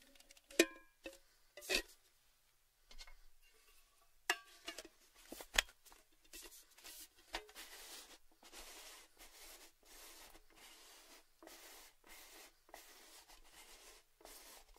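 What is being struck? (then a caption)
Cylindrical metal gift tin. Fingertips and nails tap and scratch near the top rim of a hollow, red cylindrical Baileys metal tin held at an angle. Sharp, bright metallic taps with brief ringing tones come first, then give way to a steady run of quieter, hissy scratching bursts.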